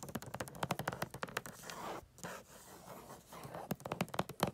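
Long acrylic nails tap and scratch a medium rectangular gift box wrapped in holographic foil paper with a pine tree print, lying on a fluffy rug. Quick, crisp taps on the foil give way to a smooth, papery scratching in the middle before the tapping returns. The sound is dry and short, with bright crinkly edges over a low thud from the box.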